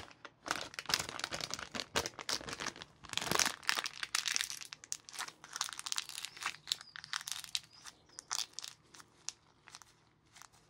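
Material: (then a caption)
Plastic film. A small, empty, flexible plastic-film sweet bag (Asda White Chocolate Buttons), held in blue nitrile-gloved hands, is crumpled and squeezed into a ball with the fingers. This produces dense, bright crinkling and crackling in bursts throughout, loudest around the middle and thinning out toward the end.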